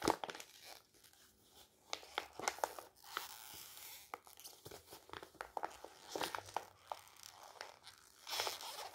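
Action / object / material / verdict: scrape / glossy magazine paper page / paper / none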